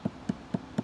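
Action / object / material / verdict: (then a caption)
tap / leather-hard clay plate on a potter's wheel / clay / none. Four short, dull thuds are heard from tapping the bottom of a leather-hard clay plate while it is being trimmed on a potter's wheel, a check said to indicate how thick the bottom is. Each tap is low-pitched with almost no ring, though the sound varies with the clay body and its moisture content. No judgment of the thickness is given.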